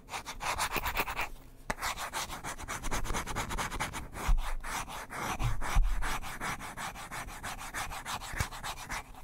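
A small, light-coloured wooden hairbrush with a solid wooden back is held in one hand close to the microphone while fingertips and nails quickly rub and scratch its wooden surface. A rapid, steady run of dry, raspy scratching strokes sounds with a bright hiss and a low, thumpy undertone, pausing briefly near the start before continuing at an even, fast pace.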